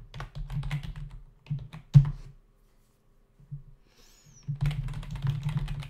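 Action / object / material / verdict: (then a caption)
tap / plastic membrane computer keyboard / plastic / none. Fingertips of both hands rapidly tap the hollow key caps of a black plastic membrane desktop keyboard, making soft, dull clicks. Bursts of typing give way to a near-silent pause with a few stray taps before the quick tapping resumes.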